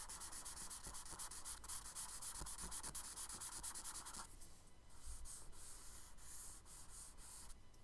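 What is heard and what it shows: A charcoal stick and a hand rub and shade across the surface of a brown kraft paper sketchbook page. Quick, rhythmic, scratchy strokes fill the first half, then the sound shifts to a softer, smoother rubbing with a bright, airy hiss.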